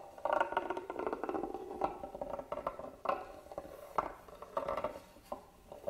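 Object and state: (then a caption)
Carved wooden box. A small black tool scratches across the carved lid of a hollow, hand-carved wooden box lying flat. Dry, rasping scrapes in the midrange come in uneven strokes, with a few sharper accents standing out. Each stroke stops dead with no ring.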